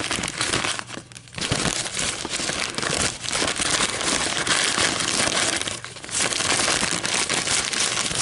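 Long metallic nails scratch, squeeze and crinkle a thin, empty white fluted paper coffee filter as it rests on a table and is lifted. The result is dense, bright, papery crinkling and rustling that runs almost continuously, easing briefly around one, three and six seconds before resuming.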